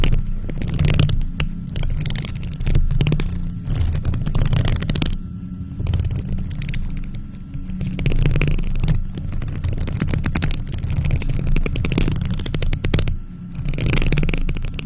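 Long nails in gloves scratch and tap a hollow silver metal mesh microphone grille. The result is dense rasping scrapes and rapid ticks over a heavy low rumble. The bursts come in rough sweeps with brief quieter gaps between them.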